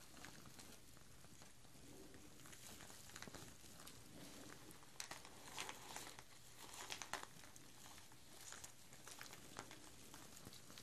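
Two strands of small, hollow artificial plastic chili peppers strung on twine are held out at the sides and shaken, so the peppers patter against each other. The result is a quiet, steady, crinkly rattle with bright, dry clicks that swell into a few louder bursts in the middle of the clip.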